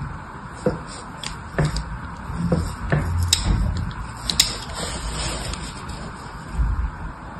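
A solid rectangular green bar of soap is held in one hand while a small, thin metal blade held in the other hand, with long red nails, scores carve lines into its surface. Short, dry scratching strokes and crisp, bright ticks come at irregular intervals over a low, steady background rumble.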